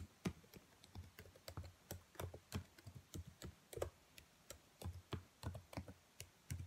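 Fingertips and long nails type on the black plastic keys of a laptop keyboard, producing about 24 quiet, quickly decaying key taps. Each tap is a soft, low thunk with a faint bright click from the nails.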